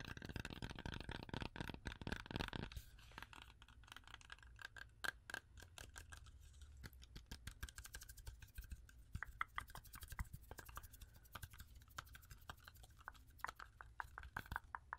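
Long orange acrylic nails tap quickly on a whole, solid, fresh red-yellow apple, part of it close to the microphone. Dense, dry clicks and ticks overlap in a rapid stream over a low background hum, with a brief heavier, rumbling burst at the start. Each tap is short with almost no ring, and a faint tone sits around 1.3 kHz.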